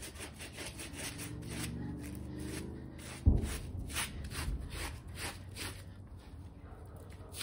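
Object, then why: Shaggy fabric bath rug. A hand holds down a small, damp, shaggy textile bath rug, light pink turned gray, with rows of fringe, on a foam mat while a small white plastic bristle brush scrubs it. Steady, rhythmic brushing strokes make soft, bright bursts over a low, muffled rumble. A sharper thump lands about a third of the way through before the scrubbing continues more quietly.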